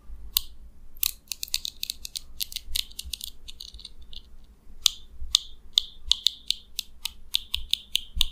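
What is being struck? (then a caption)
Plastic comb teeth. A small purple plastic comb is held in the fingers while a fingernail strums across its teeth, producing rapid, dry, bright clicks centered around 3.6 kHz. The clicks come in quick bursts and irregular runs, each dying away instantly, over a faint low rumble.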